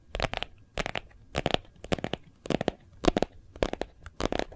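A phone in a hard white plastic case with a gold foil leaf print, held in both hands, is tapped rapidly on the back with fingertips and nails. The taps come in short, irregular bursts of sharp, dry clicks that cut off almost instantly, with a bright crackling edge.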